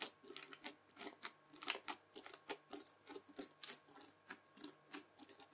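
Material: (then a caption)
Foam beads. A white plastic fork strokes and scratches across the beaded surface of red bead-filled floam slime, and the slime is folded. About 25 crisp, bright crunching and crackling bursts come at an uneven pace. Each one is short with almost no ring, and there is no low end.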